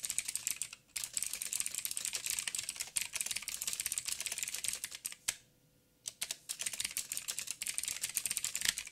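Fingertips of both hands type quickly on a backlit mechanical keyboard with black plastic keycaps on a silver frame and a hollow housing. It makes a dense stream of sharp, bright, clicky taps that die away almost instantly. The typing has a short break near the start and a longer pause of about a second in the middle before it resumes.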